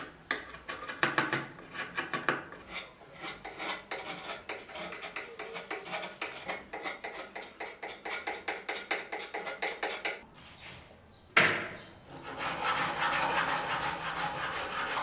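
A steel chisel pares and scrapes the surface of a solid wooden model car body blank for a 1936 Mercedes-Benz 500K Special Roadster, roughly 40 cm long and clamped on a bench among shavings, making a quick run of short, dry, raspy strokes. After a brief pause and one sharp, loud scrape, the wood is rubbed with a wooden sanding stick, giving a steady, bright, hissing rasp to the end.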